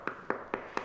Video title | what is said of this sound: Post-processing: Finishes for Myco-materials | this one definitely is more of like knocking on a piece of wood